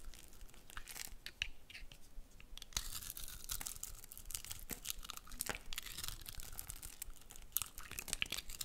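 A metal utility blade cuts and scrapes small flakes and cubes from the surface of a solid, hand-sized, pale pink soap bar with magenta speckles, held in one hand. The result is a steady run of quiet, crisp, crunchy scrapes and sharp clicks with bright, high hiss, each cut stopping dead with no ring.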